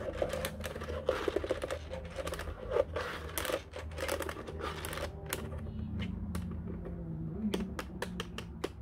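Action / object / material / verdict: tap / plastic telephone keypad / plastic / none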